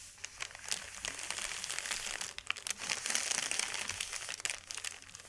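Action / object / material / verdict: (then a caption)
scrape / thin paper sheet / paper / none. Both hands rub and press a large, thin white sheet of wrapping paper lying flat on a velvet cloth with the fingertips. A steady stream of dense, bright crinkling and crackling with almost no low end, rising and falling in loudness. Sharp little snaps stand out now and then before fading quickly.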